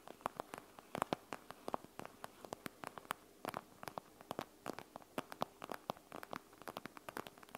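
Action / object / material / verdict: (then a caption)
tap / plastic eye mask filled with gel beads / plastic / none. Long nails on both hands tap and scratch a panda-face eye mask made of clear plastic filled with gel beads, lying flat on a wooden table. The result is a quick, irregular patter of dozens of short, crisp clicks, centred around 1 kHz, over a faint, soft rustling hiss.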